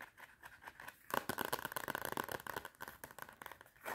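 Long red nails rapidly tap and scratch the front cover of a clapperboard notepad with a cardboard cover and metal spiral. The first second is quiet, then a dense burst of dry, crisp clicks and scrapes with a bright edge runs from about 1.1 to 3 seconds before thinning out, with one more flurry at the very end.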